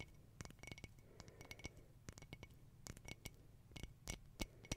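Long nails tap and scratch the surface of a round, hollow glass tea-light holder with a silver crackle mosaic and a lit candle inside, held in both hands. About twenty quick, bright, glassy clicks come at an uneven pace with soft scratching between them, over a faint steady ring near 2 kHz and a low background hum.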